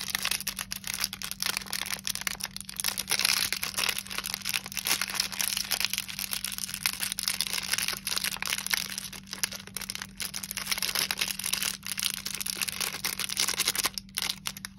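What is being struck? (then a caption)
Candy bar in a plastic wrapper. A single Snickers bar in its sealed, crinkly plastic wrapper, about hand-length and solid, is held in both hands while the fingertips squeeze and rub it. This produces continuous bright, dense crinkling with many quick crackles and a faint steady low hum underneath.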